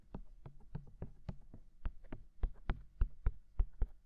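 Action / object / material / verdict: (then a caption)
tap / silicone ears of a binaural microphone / silicone / none. Fingertips tap on both white silicone ears of a binaural microphone, producing a string of 14 soft, dull, low thumps at an uneven pace. Each tap is short and muffled with almost no ring, and the later taps land a little harder than the early ones.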